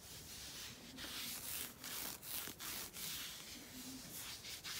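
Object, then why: Knit fabric sock. A black knit sock worn on a foot is rubbed and scratched with fingertips and nails across its knit texture. The result is a steady, bright, dry scratching hiss with a faint low hum underneath, broken by a few brief quiet gaps as the strokes change direction.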